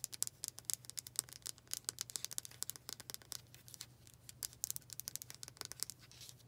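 Long painted fingernails rapidly tap the solid dark wooden back of a hand-sized brush with black bristles. Dozens of sharp, bright, dry clicks come in quick, uneven bursts, each dying out at once. A faint, steady low hum sits underneath.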